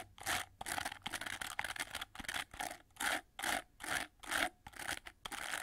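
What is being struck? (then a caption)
Plastic bristle hair brush. Fingertips and nails rub and scratch through the dense, red, flexible plastic bristles of a hand-held oval hair brush with a gold plastic frame and handle. The result is a run of bright, hissy, crackly scratching strokes, roughly two per second in an uneven rhythm, with almost no low end.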